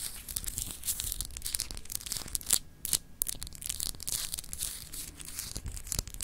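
Long acrylic nails scratch the etched, textured surface of a palm-sized solid clear glass globe paperweight held in the hand. The result is a dense, bright, crackly rasping made of many quick scrapes and clicks, with a brief quieter pause near the middle before the scratching resumes.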